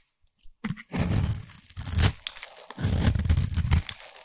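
A solid orange embossed bar of soap, held in the hand, has its edge scraped with a black abrasive blade tool, shedding crumbs. The result is two long, dense stretches of gritty, crunchy scraping that are heavy in the low end, with a bright rasp on top and short scuffs between them.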